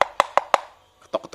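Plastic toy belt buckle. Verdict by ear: Hollow.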